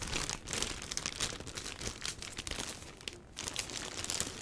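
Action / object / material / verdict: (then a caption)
scrape / box wrapped in a plastic bag / plastic / none. A box wrapped in a black plastic bag is held and turned by hand while fingers squeeze and rub the crinkly plastic wrap. A dense, bright crinkling and rustling continues throughout, swelling and easing with brief dips in between.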